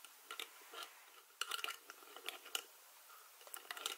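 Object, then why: Plastic screw lid on a glass spice jar. Fingers with long nails grip, twist and scratch the white plastic screw lid of a small glass jar full of dried herbs. Quiet, bright, dry clicks and scratchy ticks come in irregular bursts with almost no low end and very short decays, separated by near-silent pauses.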